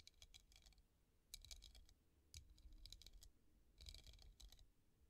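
Long nails tap quickly over the bumpy surface of a clear, hollow, empty hobnail glass vase standing on a table. The result is bursts of light, bright, clicky taps that die away almost at once, over a quiet low rumble.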